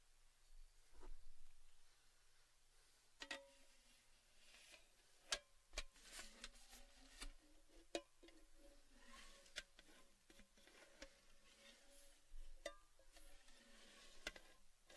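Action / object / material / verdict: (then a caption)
tap / cylindrical metal tin / metal / none. Fingertips and nails tap the rim and side of an empty, open, hollow red Baileys cylindrical metal tin with its lid off, making a scattered series of quiet, sharp, bright clicks and ticks. Each tap dies away almost instantly, over a low hum and a faint tone that slowly rises and falls in pitch.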